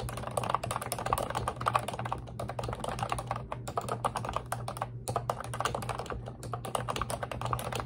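Long red nails type and tap continuously on a pink retro-style Ubotie plastic computer keyboard with round white-and-pink keycaps and a hollow body. The result is a dense, steady stream of short, sharp plastic clicks and nail taps, brief pauses between bursts, and a faint low hum underneath.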